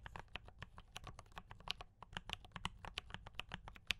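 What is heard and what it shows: Both hands type continuously with fingertip taps on a compact mechanical keyboard with D84 brown switches and cream and red plastic keycaps. A steady stream of quick, bright clacks and soft low thumps is heard, each keystroke stopping almost instantly with no ring.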